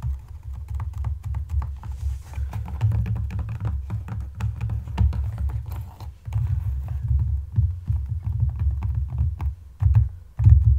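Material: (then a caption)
Leather. Fingertips and nails tap and scratch along the upper and side of a hollow, empty brown leather wedge loafer with a buckle strap resting on a dark table. Quick, dull, low thumps around 70 Hz come in a steady, busy stream with faint scratchy rustle over them, each tap dying away almost at once. The tapping dips quieter around six seconds, then picks up again with a few louder knocks near the end.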